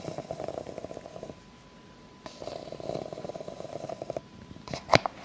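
Long nails scratch slowly along the ridges of an empty clear ribbed plastic cup, producing two stretches of rapid, buzzing clicks separated by a short pause. A brief, louder, sharper scrape comes near the end.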